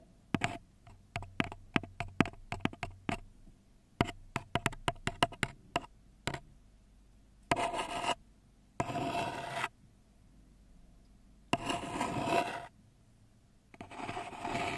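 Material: Paper.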